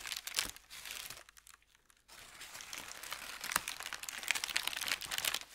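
A crumpled thin white paper sheet is crinkled, then spread flat and rubbed with the palm and fingers. Bright, dry crackling fills the clip, pauses into near silence for under a second, then returns as a denser, louder stream of sharp crinkles.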